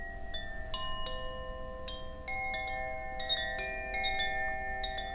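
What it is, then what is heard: Bamboo Koshi wind chime. A hollow bamboo Koshi wind chime with a wooden clapper, held by its cord and swung, rings out a series of clear, overlapping tones. The sustained notes hang and blend over a low, steady background hum, with bright, high partials sparkling above.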